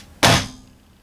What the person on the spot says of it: Hear that thud? That's big.